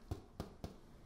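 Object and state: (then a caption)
Baked bread loaf, hollow and done. A homemade Greek bread loaf, baked about an hour in a 375-degree oven, is tapped three times. Each tap gives a short, dull, low thump with little ring. The hollow sound shows the bread is done and ready.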